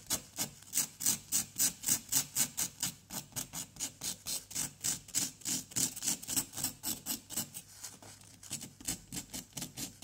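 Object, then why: Plaster dig block scraped with a wooden pick. A wooden pick scratches and scrapes at a solid orange-yellow plaster dig block resting on cardboard, working around an embedded white item with crumbly powder around it. About 38 quick, bright, raspy strokes come in a fairly steady rhythm, each dying away almost at once, with a brief lull near the end before the scraping resumes.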